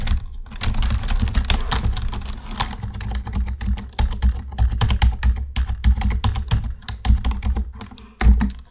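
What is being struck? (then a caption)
Plastic computer keyboard. Fingertips type on a black plastic computer keyboard, first with both hands and then with one hand, giving a steady run of soft, quick key clicks over a deep low thump. Each keystroke is short and clicky with a bright edge, and the clicks tumble together unevenly without a regular rhythm.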